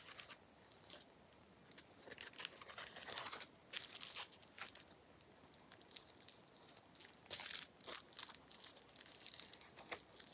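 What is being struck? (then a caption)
Plastic bubble wrap sheet. A small flat sheet of clear plastic bubble wrap with air-filled bubbles is held in both hands while the fingertips squeeze and pop the bubbles. Quick, bright crackling pops and crinkles come in uneven bursts, with very little low end and almost no ring after each pop.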